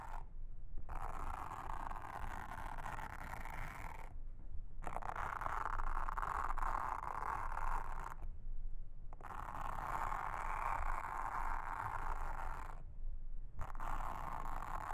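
A pink mascara spoolie brush, held in a hand with long red nails, brushes and scratches across a round, blue, flat and solid silicone trivet mat with a honeycomb texture lying on a table. The result is a soft, steady scratchy rasp centered in the midrange over a low rumble. Long brushing passes are broken by brief pauses.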